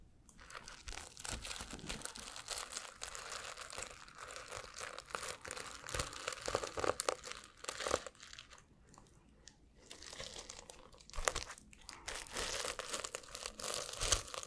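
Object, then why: Plastic flip-sequin notebook cover. Fingertips rub and scratch the plastic sequins on a flip-sequin notebook held in front of the microphone, flipping them between blue and silver. The result is a dense, bright, crinkly scratching with quick clicks. It eases into a brief quiet lull past the midpoint before swelling back up.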